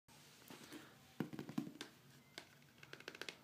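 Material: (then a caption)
Plastic. A large, hollow black plastic protein powder tub with its red plastic screw lid closed is tapped and scratched with fingertips and short nails on the lid and shoulder. Soft, irregular taps with short, dull, hollow knocks mix with faint scratchy rasps. The sounds are quiet and die away quickly.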